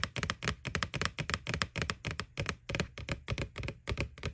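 Fingernails tap rapidly and irregularly on the front wall of a white, hollow plastic McDonald's Boo Bucket with a ghost face. Each tap is a short, dry click with a hollow low thump and a bright edge, dying away almost at once.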